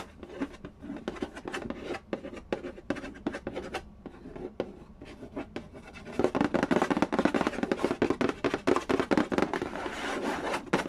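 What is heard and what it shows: Fingertips and nails tap quickly and trace across the lid of a hollow, printed cardboard Candy Land game box resting on a wooden floor. Sharp, dry taps mix with soft scratchy tracing, with a hollow midrange knock in each tap. For about the first six seconds the taps are sparse and quieter, then the tapping turns louder, faster and denser until the end.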